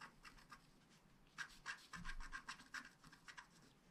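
A wooden stylus scratches the mane area of a unicorn design on a flat black scratch art card made of wax-coated paper. Quiet, rapid, uneven strokes make dry, bright scratching bursts with a raspy tone centered near 1.6 kHz, each fading quickly.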